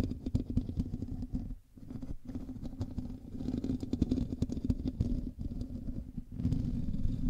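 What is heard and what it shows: Fingernails on both hands scratch the top of a black USB microphone's hollow metal mesh grille. The result is a dense, continuous crackling scrape with a heavy, low, rumbling body and almost no bright content. The scratching dips briefly a few times, then grows slightly louder near the end.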